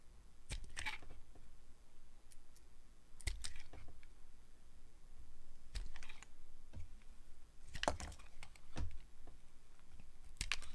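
A solid, translucent amber glycerin soap bar is held in the hand while thin slices are carved off it with a metal blade. Short, crisp clicking cuts and brief scraping strokes come in irregular clusters over a quiet, low background, each snap dying away almost instantly.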